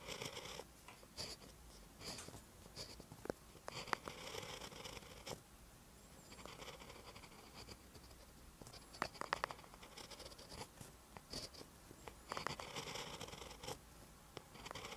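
A pen held in the fingers writes green letters on a lined paper notebook page, making quiet, dry scratching strokes. Short bright scrapes come in uneven bursts with brief pauses between words, the scratch reaching into the high range with little low end.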